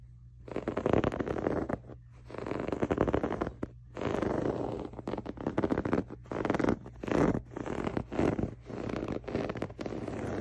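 Fingers and nails scratch and rub the textured cover of a soft, stuffed grey waffle-weave fabric pillow. The sound is a dry, rustling scratch in uneven bursts, with short pauses between strokes. The scratch centers in the mid range, and a faint steady low hum sits underneath.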